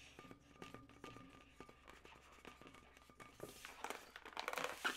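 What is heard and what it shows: Long nails scratch and tap a hollow, yellow inflated latex modelling balloon twisted into segments. Quiet, quick taps and squeaky scratches sound over a faint steady tone. The rubbing grows louder and brighter toward the end.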